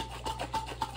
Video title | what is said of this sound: Lattes with Lambs: Butter Shaking Instructions | when I shake it, right, you hear the liquid sloshing again